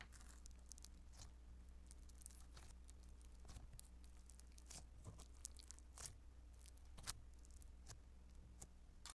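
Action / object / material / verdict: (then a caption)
tap / beaded foam modeling dough / foam dough / none. Blue beaded foam modeling dough (Play-Doh Foam), spread flat on a table, is pressed, patted and squished with the palm and fingertips. Many quick, soft crackling crunches and crinkly pops with bright, high sizzle are heard over a steady low hum, and each one stops almost instantly.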